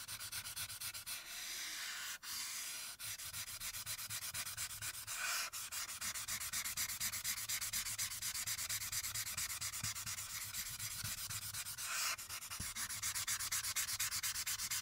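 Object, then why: Marker tip on a paper sheet. A light-blue marker tip rubs in quick, repeated strokes across a printed paper coloring sheet lying flat on a dark backing, shading the background beside the figure. The result is a steady, bright, scratchy rubbing at roughly two strokes per second, with a few brief pauses early on.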